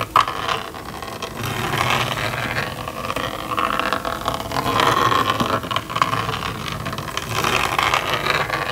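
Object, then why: Plastic magnetic drawing board and stylus. A plastic stylus traces an outline around the edge of the screen of a small red and yellow plastic magnetic drawing board. It makes a steady, gritty scraping with a faint whining tone, swelling and easing as the stroke moves along, with a few brief sharper scratches.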